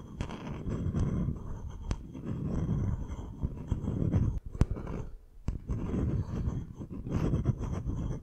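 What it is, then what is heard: Bamboo wooden bowl. Short fingernails tap and scratch the outer base and sides of a medium, hollow bamboo wooden bowl that is held empty and upside down. The result is a steady, low, muffled scraping rustle, broken by a few sharp, dry clicks that die away almost at once.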